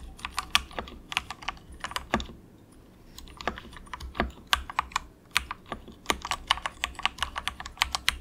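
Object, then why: Plastic mechanical keyboard keys. Fingertips of both hands softly type in quick taps on a very cheap, compact 68-key mechanical keyboard with grey and orange plastic keycaps and a hollow plastic case. Short, bright, clicky keystrokes come in rapid bursts with brief pauses between them. Each one is dry and dies away almost instantly, with little low end.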